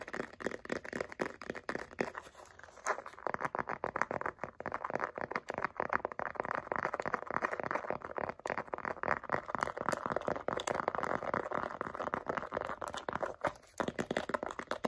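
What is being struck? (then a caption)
Faux leather zip wallet. Long acrylic nails rapidly tap and scratch the flat surface of a small light-blue pebbled faux leather zip wallet. The result is a dense, fast run of dry, sharp clicks mixed with scratchy, crinkly rustling, centered in the midrange with almost no low end. It is quieter and sparser for the first few seconds, then busier and more constant after.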